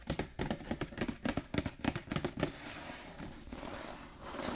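Fingertips and short nails tap and scratch across the printed cardboard front and clear plastic window of a large, flat, hollow Pokémon Radiant Eevee Premium Collection box with card packs inside, lying on a table. About 16 quick, dull, hollow taps come first at an uneven pace, then give way to a steady, soft, brushing scratch with a brighter hiss toward the end.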